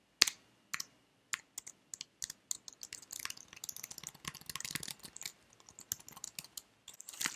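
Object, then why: Plastic computer keyboard keys. Fingertips with nails tap and type on the keys of a white slim plastic computer keyboard held at an angle. Sharp, bright plastic clicks start as scattered single taps, then speed up into a dense run of typing with almost no low end and no ring after each click.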